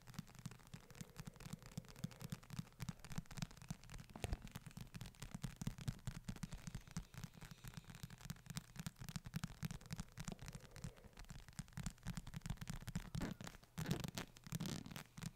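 Fingertips tap and scratch across the cover of a solid hardcover book with a brown leather or faux-leather cover and a darker band, held up close to the microphone. The result is a quiet, dense run of soft, dull taps and rough scratching, weighted heavily toward low, thumpy tones with little high end, and a few slightly louder taps near the end.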